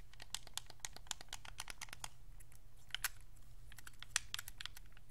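A white Xbox 360 wireless controller, with a hollow hard plastic shell, plastic buttons and thumbsticks, is held in both hands while fingertips and thumbs press and click the face buttons and sticks. A rapid, irregular stream of short, dry, bright plastic clicks and taps plays over a steady low hum, with a couple of slightly louder clicks standing out.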